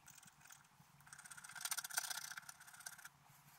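A wooden stylus scrapes the antler area of a flat, black-coated scratch-art card. It makes quiet, dense, bright scratching strokes that build to a louder middle stretch and then taper off to a faint hiss.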